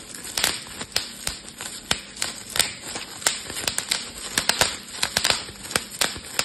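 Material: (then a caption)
Plastic. A clear plastic bubble wrap sheet is handled and twisted with both hands, popping bubbles amid steady crinkling. Around twenty sharp, bright pops come at an irregular pace, each dying away almost at once over a continuous hiss of crinkling plastic.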